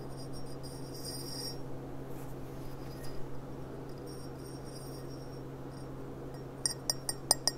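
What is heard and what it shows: Long dark nails tap the bowl and stem of an upright, clear, empty stemmed glass goblet with a gilt rim, starting with soft, faint high-pitched contact sounds over a steady low hum. Near the end come six sharp, bright clinks that die away almost instantly.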